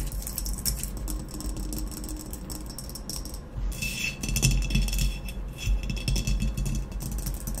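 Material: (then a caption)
Ceramic. Long nails scratch and tap quickly across the black base of a hollow ceramic vase, held with its base facing out and a rough unglazed rim. The result is a dense, irregular stream of dry scratches and light clicks with a bright hiss on top and a low body underneath, growing slightly busier in the second half.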